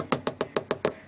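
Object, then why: DJ controller casing. Six quick taps on the metal casing of a VMS4 DJ controller, tapped to show its body is metal rather than plastic like a Hercules controller; the metal also feels cold. Each tap is a short, bright knock with a tone around 390 Hz and almost no ring, evenly spaced about 0.15 seconds apart.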